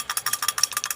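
A worn steel connecting rod in a motorcycle engine, with excessive up-and-down play, produces a rapid series of bright, sharp metallic clanks. Each clank dies away almost instantly, with no low rumble beneath. The rod is badly damaged and is to be replaced with a new original rod, along with two bearings and a cylinder rebore.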